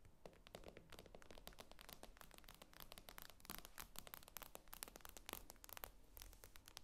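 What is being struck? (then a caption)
Tablet with a glass screen. Long acrylic nails tap and scratch rapidly across the glossy glass screen of a tablet lying flat on a table. The sound is a dense stream of short, dry clicks with bright scratchy edges over a faint low hum, each tap dying away almost instantly.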